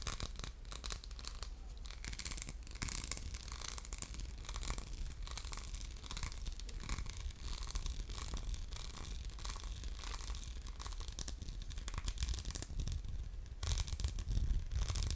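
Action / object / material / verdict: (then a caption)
scrape / faceted glass soap dispenser with metal pump / glass / none. Fingernails scratch across a hollow orange glass soap dispenser with a faceted diamond-pattern surface and a metal pump. The result is a continuous, dense run of quick, dry scraping strokes with bright, hissy texture, heard over a steady low hum.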